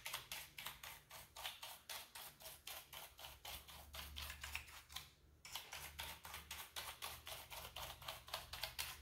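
A wooden-handled bristle brush sweeps across and pokes between the keys of a full-size, hollow black plastic computer keyboard. About 38 quick, bright, scratchy strokes repeat at a brisk, somewhat uneven pace, each fading almost at once. A faint low hum runs underneath, and the strokes briefly thin out just past the midpoint before resuming.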